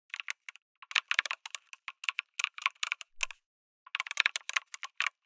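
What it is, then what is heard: Mechanical keyboard with plastic keycaps. Fingertips type on a backlit mechanical keyboard with a white case and red and grey plastic keycaps. Many sharp, bright clicks come in quick, uneven bursts, with a short pause partway through before the typing resumes. Each keystroke sounds crisp and dry, with almost no low end.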